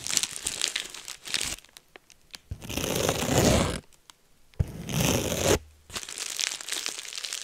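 Clear plastic bubble wrap is held close to the microphone while fingertips pinch and pop its bubbles and crumple the sheet. Sharp, bright crackles and snapping pops come in scattered bursts, broken by two longer stretches of dense, rustling crinkling.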